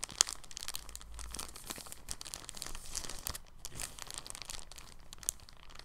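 A thin, clear, empty polyethylene bag lying on a table is folded, unfolded and smoothed with fingers. It gives a steady, soft, bright crinkling and rustling with many small crackles, plus a sharper crackle near the start and another near the end.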